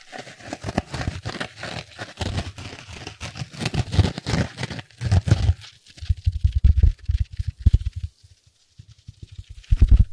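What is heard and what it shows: A small yellow foam kitchen sponge with a green scouring pad is squeezed in the fingers, and its abrasive side is rubbed and scratched. The result is a dense run of soft crinkling, scratchy rustles and low, muffled squeezes. The sound is mostly low thuds with faint bright scratching, and it thins out near the end.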